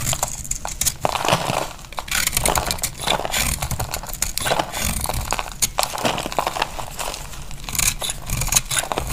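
A utility knife blade cuts and scrapes a solid, dry beige soap bar held in the palm, breaking off crumbly flakes. The result is a steady run of dry, crunchy crackles and bright scraping with short crisp snaps, and a light low rumble underneath.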